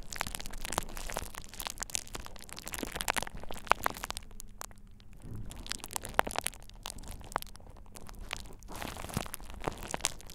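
A thin purple plastic bubble wrap sheet laid over the ears of a dummy-head microphone is squeezed and popped by fingertips. Dense, close crinkling and crackling are broken by sharp, bright snapping pops, with a brief quieter stretch near the middle. A faint steady low hum runs underneath.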